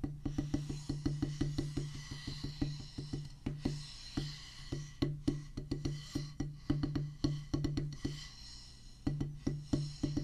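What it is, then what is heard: Rubber drum practice pad. A solid oval drum practice pad with a black rubber top on a pressboard/wood base is tapped with wooden drumsticks in quick, irregular bursts. Each tap gives a short, dull thud with a low tone around 145 Hz that dies away almost at once, with brief pauses between runs.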